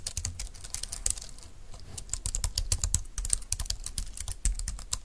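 A compact, thin, dark-green plastic wireless Bluetooth keyboard lies on a desk mat while both hands type on its keys with their fingertips. This produces a fast stream of crisp, bright key clicks over a low thud from each press. The clicks are dense and uneven, with a brief lull near the middle.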